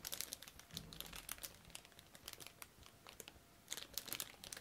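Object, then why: Plastic bag with plastic parts sprue. A clear plastic bag holding a flat, hand-sized orange plastic parts sprue from a Tamiya Mini 4WD Panda Edition kit is crinkled, squeezed and flexed with the fingertips of both latex-gloved hands. The result is quiet, bright, crackly crinkling in dense bursts of sharp clicks, easing into a softer lull midway before picking up again at the end.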